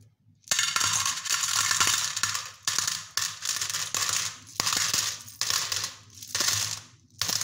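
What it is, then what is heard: Aluminium coins poured into a steel bowl. Handfuls of small silver aluminium coins, with a few brass ones, are dropped from cupped hands into an empty-to-partly-filled stainless steel bowl, which is held at its rim at the end. Repeated pours make bright, dense metallic jingling and clattering, with short ringing tails between bursts.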